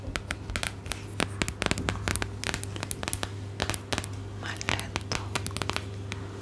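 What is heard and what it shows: Long acrylic nails tap and scratch the back of a pink plastic or silicone phone case with a glitter heart, fitted on a phone held in the hand. Quick, bright clicks and scratchy scrapes come in an uneven run over a steady low hum.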